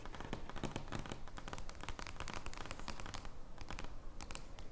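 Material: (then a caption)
Card stock. Long nails scratch across an oversized joker playing card made of thin card stock, lying flat on a wooden table. The result is a steady stream of quick, dry scratching and crinkling strokes with bright papery edges over a faint low rumble.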